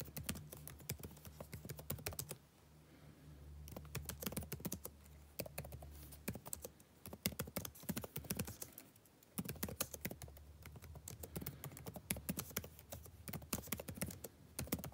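Fingertips type continuously on a backlit laptop keyboard with plastic keys, producing quick, dry, bright clicks that stop almost instantly. The typing runs in dense bursts with two brief pauses, over a steady low hum.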